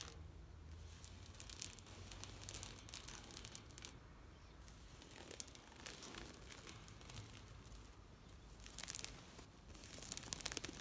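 Long nails scratch and rub a thin, flexible green woven plastic mesh shade net stretched on a fence. The result is quiet bursts of dry, crackly rasping and crinkling, bright and hissy in the highs, which come and go in uneven waves.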